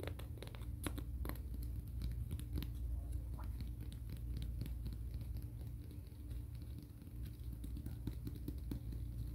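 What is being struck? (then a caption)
Emery board nail file scraped by a fingernail. A fingernail is drawn along the gritty abrasive surface of a long, flat, black-and-grey emery board nail file with a thin core, held in the hands, in a filing and scratching motion. Quick, dry rasping strokes flick up bright and sharp over a steady low hum that carries most of the sound, at a fairly constant level throughout.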